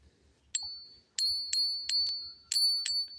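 A silver bullion round is ping tested, struck six times in quick succession. Each strike gives a bright, high ringing tone with a fainter overtone that hangs on between strikes.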